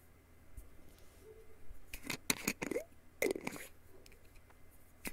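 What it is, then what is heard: Glass jar with plastic lid. A small, hollow, clear glass jar with a black plastic screw lid, seemingly holding a few pills, is held in both hands over a bedsheet while fingertips and nails tap and scratch the glass body and the lid. About nine short, dry, bright clicks and taps stand out, mixed with soft scraping and a faint rattle, over a quiet low background.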